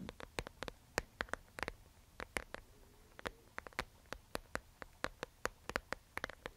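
A round, flat, clear plastic disk, palm-sized and sealed with yellow gel water beads inside, is held in both hands and tapped and scratched on its smooth surface with long manicured nails. The result is a quiet, irregular run of sharp, bright clicking taps that stop dead, with faint scratching between them.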